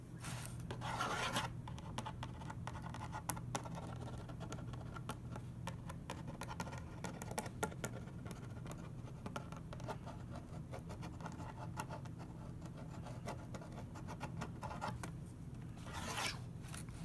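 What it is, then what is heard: Cardboard box scratched with a pen tip. A metal pen tip traces and scratches over the printed surface of a medium cardboard taco shell box, which lies flat and hollow with its contents inside while the other hand holds it. Quiet, steady scratching and faint ticking run the whole time, with occasional sharper clicks and brief brighter rasping strokes over a low background hum.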